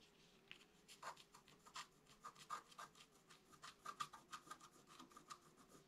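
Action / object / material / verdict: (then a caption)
scrape / scratch-art paper card scratched with a wooden stylus / coated paper / none. A pointed wooden stick held in the fingers scratches a thin, solid, flat black-coated scratch-art card with a rainbow layer beneath, lying on a table. About two dozen short, irregular rasping strokes scrape with a bright, dry texture centered around 1.2 kHz. Each stroke dies away almost instantly over a faint steady background hum.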